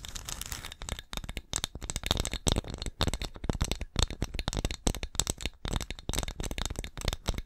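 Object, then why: Small glazed ceramic pumpkin ornament. Long acrylic nails scratch and tap the glossy surface of a small, hollow, painted orange ceramic pumpkin ornament lettered "BLESSED," held close to the mic. Dense, rapid clicky taps and crisp scratches alternate in quick bursts, each hit dry and short with bright, high edges over a soft low thump.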